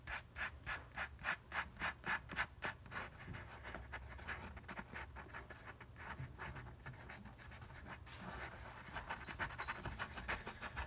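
A fingertip rubs and traces quickly over the printed lion graphic on a flat paper flour bag labeled "Stone Ground Whole Grain." Fast, rhythmic dry scratching strokes, centered around 1.7 kHz with a papery hiss, give way to a steadier, smoother continuous rub in the middle. The distinct back-and-forth strokes then return toward the end.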